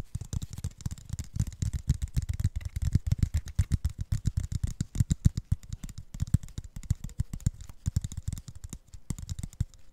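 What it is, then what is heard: Plastic water bottle. An apparently empty clear plastic Mount Franklin water bottle with a blue plastic cap and a paper label is held in both hands and tapped and scratched with fingertips and nails close to the mic. Rapid, irregular hollow taps with a deep low body and very short decay run throughout, mixed with faint scratching and some speech.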